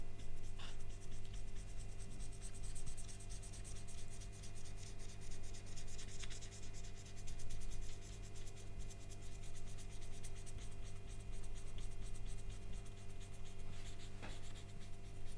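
A permanent marker is rubbed in repeated strokes across the remaining yellow peel near the top end of a whole, solid, mostly blackened banana resting on a black mat. A steady, soft scratching and squeaking of the felt tip on the peel runs throughout, over a constant low hum.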